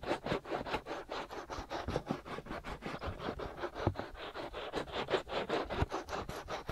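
Fingers with short nails scratch and rub the white, soft silicone ears of a binaural microphone. About 25 quick, unevenly spaced scratching strokes are heard as dry, broadband rasps centred in the mids, each ending abruptly with no ring.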